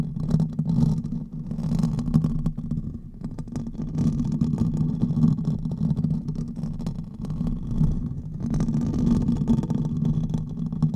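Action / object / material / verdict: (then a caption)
scrape / metal mesh microphone grille / metal mesh / none. Fingernails of both hands scratch quickly across the hollow metal mesh head of a silver condenser microphone, producing a dense, continuous scratching rumble. The sound is mostly low and boomy, centred around 160 Hz, with faint crackly texture above. It stays fairly steady in level, with brief softer dips near 3 and 7 seconds.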